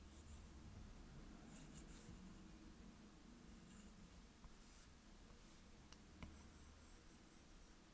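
A plastic stylus tip makes small back-and-forth strokes on a glass iPad touchscreen, coloring in orange areas. Quiet, faint scratching on the glass sits over a steady low hum, with two soft, brief taps standing out.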